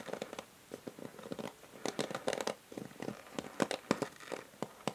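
Long nails tap quickly and irregularly on the hollow grey plastic back of a paddle hair brush with a pink rim, held sideways. Each tap is a short, dry click with a hollow mid-range knock and bright crackly edges, dying away instantly. The taps fall in uneven clusters with brief quiet gaps between them.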